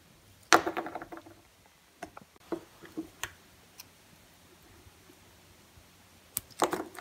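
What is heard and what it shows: A blue-handled utility knife blade carves thin slices off the edge of a palm-sized, solid, semi-dry green bar of soap held in the hand. A crisp, crackly scraping cut opens the clip and trails off in small crumbly ticks, followed by several short, dry clicks and scrapes, then another crunchy carving burst at the end.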